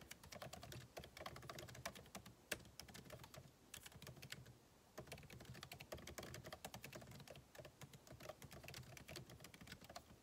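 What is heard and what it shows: Fingertips type continuously on a backlit MacBook Pro keyboard with plastic keycaps set in an aluminum body, producing a steady stream of short, dry clicks with a bright top and a soft low thump. The taps barely ring, with a brief pause at around four and a half seconds before the typing resumes.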